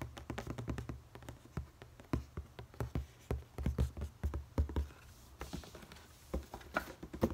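A medium-size, hollow black Jordan cardboard shoebox with a red Jumpman logo is held up and tapped rapidly with fingertips and nails on its lid and sides; its contents are not visible. The taps come as quick, uneven bursts of short, dry hollow thumps that are mostly low and boomy, with light clicks on top and a softer stretch near the end before a few louder taps.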